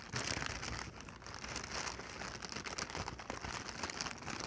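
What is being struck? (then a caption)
Inflated plastic packing air pillow. A medium-size clear, hollow, air-filled plastic air-cushion packing pillow, held in both hands, is squeezed and crinkled with the fingertips and long painted nails. The result is a steady, dense stream of bright crinkling and crackling plastic, with soft low thumps underneath and no pauses across the clip.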